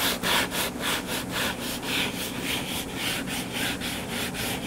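Fingertips and nails scratch the cover of a closed, solid hardcover book lying flat on a table. The result is a continuous, bright, dry scratching hiss that pulses in quick, fairly regular back-and-forth strokes, with little low-end weight.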